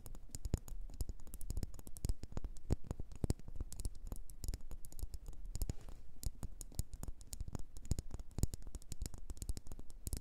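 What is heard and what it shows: A red, faceted, hand-height pillar candle of solid wax is held upright between both hands and tapped and scratched along its sides with long orange-painted fingernails. A quick, steady patter of short, dry clicks and soft scratches runs throughout, with bright ticking edges over a low thump. Each tap stops almost instantly, with no ring.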